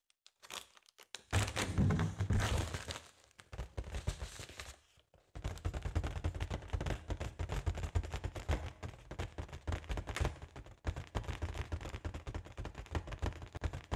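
Long acrylic nails on both hands tap and scratch a large, inflated, round, hollow holographic mylar foil balloon. The result is a dense, fast, irregular run of soft, hollow, low thumps mixed with crinkly scratching. There is a brief pause near the five-second mark before the tapping resumes steadily.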